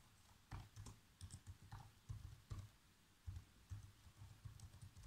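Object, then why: Plastic laptop keyboard keys. Fingertips press the black plastic keys of a laptop keyboard, producing about ten soft, dull typing taps at an uneven pace. Each tap is mostly a low thud with a faint click on top and dies away almost at once.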